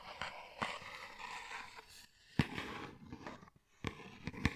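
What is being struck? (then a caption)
Cardboard tea box. A tall printed cardboard tea carton held upright in front of a microphone is tapped and scratched with fingernails. Eight dry, short taps stand out over a soft, continuous scratching rustle, with brief quiet gaps between.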